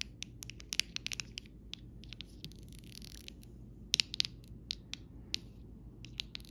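A copper metal stylus tip taps and scratches across a small rainbow acrylic rhinestone sticker sheet with clear faceted gems on a thin, solid plastic backing resting on fabric. Quick, bright clicks and scratchy ticks come in irregular bursts over a low steady hum, with a brief hissing scrape in the middle.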